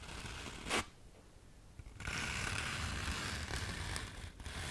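Long nails scratch across the abrasive face of a thin, palm-sized sheet of black fine-grit sandpaper held upright close to the mic. A brief bright rasp near the start is followed by a quiet pause. Then comes a steady, rough, hissing scrape that lasts to the end.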